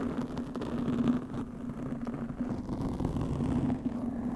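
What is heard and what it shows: Long fingernails on both hands scratch a black foam windscreen on a studio microphone. The result is a continuous, dense, muffled scratching rustle, heavy in the low end with a steady tone around 250 Hz and almost no bright content. It holds at an even level with small rises and dips throughout.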